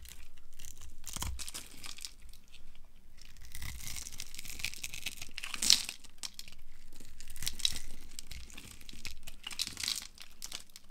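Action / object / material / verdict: scrape / bar of soap / soap / none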